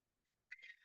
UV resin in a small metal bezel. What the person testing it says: You can hear that it is now solid.